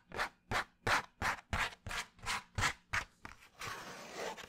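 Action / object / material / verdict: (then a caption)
scrape / thin kraft cardboard sheet / cardboard / none. Fingernails scratch a thin, flat, tan kraft cardboard sheet (or kraft paper envelope) held up near the face. Nine distinct, rhythmic scratchy strokes with a bright, papery rasp are followed by quicker, smaller scratches that blur into a continuous rubbing texture.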